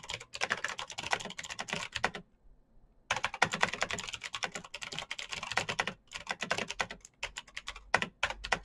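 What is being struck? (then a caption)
Plastic mechanical keyboard. Fingertips of both hands type fast on a black plastic full-size Razer BlackWidow mechanical keyboard with clicky green switches, an RGB backlight and a hollow case, resting on a desk mat. Rapid, bright, sharp clicks clatter in dense bursts, with a clear pause of nearly a second after the first two seconds and shorter breaks later. Each click dies away almost instantly with little low-end weight.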